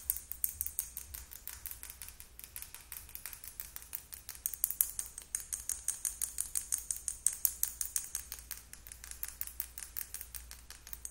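Long acrylic nail tips tap rapidly and unevenly on a small clear plastic Sally Hansen lip gloss tube with purple gloss and a silver cap, held in both hands. About 64 short, bright plastic clicks follow one another and die out almost instantly. A faint steady low hum runs underneath.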